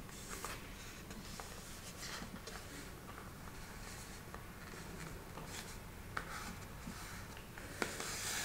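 A long red fingernail taps, traces and scratches across a small printed cardboard box of Tofumicato smoked tofu, held closed in the hand and likely full. Quiet, steady dry scratching and rubbing with a bright hiss runs throughout, broken by a few sharp, brief taps that click and die away quickly.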